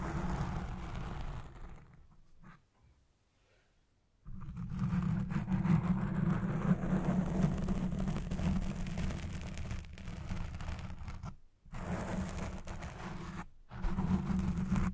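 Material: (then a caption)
Foam. Long red-painted nails scratch a black foam windscreen on a Blue Yeti Pro microphone, producing a dense, muffled scratching rumble concentrated in the low end. The sound fades to near silence from about 2 to 4 seconds, then returns louder and steady, with two brief dropouts near the end.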